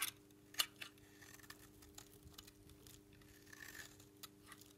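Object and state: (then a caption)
Dry bar soap. A metal knife blade held in one hand repeatedly shaves and scrapes thin, crunchy flakes off the edge of a solid, palm-sized white bar of dry Dalan soap held in the other. The result is a series of quiet, irregular, bright, crisp scrapes and crackles that die away quickly, over a faint, steady low hum.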